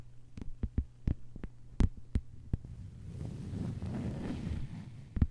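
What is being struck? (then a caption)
Thin plastic cutting mat. Long white-polished nails of both hands tap a thin, solid, lime-green plastic cutting board lying flat on a table. Crisp, separate taps with a dull low thud and almost no ring come at an uneven pace, over a steady low hum. They then blur into a denser, softer stretch of quick tapping before one last sharp tap.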